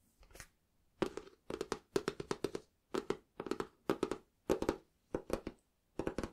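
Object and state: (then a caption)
Cloth-covered hardback book. Fingertips and knuckles tap and knock the cover of a small, solid, closed green cloth-bound hardback book, and nails scratch it as the book is moved on the cloth. Quiet clusters of short, dry, muted knocks carry a midrange body with bright scratchy edges, and each stops almost instantly with no ring.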